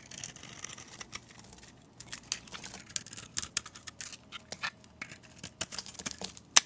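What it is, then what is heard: Soap bar being carved. A metal utility blade carves and scrapes a solid, hand-sized oval soap bar, teal outside and orange inside, cutting off crumbly orange shavings. The sound is a run of short, bright, crisp scrapes and crackles with almost no low end, ending in a sharper, louder snap.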